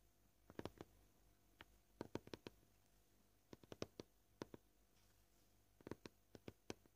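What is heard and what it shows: Fingernails of both hands slowly tap a flat, solid white plastic cutting board. Short, dry clicks land in loose, uneven clusters separated by quiet pauses, each one dying out almost instantly with a woody midrange body near 430 Hz and a faint bright tick on top. The overall level is soft, over a low steady background hum.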